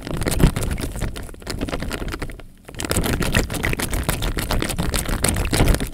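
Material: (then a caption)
Plastic, water. A clear plastic bag, half full of water and hanging from the fingers, is gently shaken so the water surface sloshes inside. The result is a steady stream of quick, crisp slaps and crinkles over a deep, heavy low end, with a brief quiet dip midway before the sloshing picks back up.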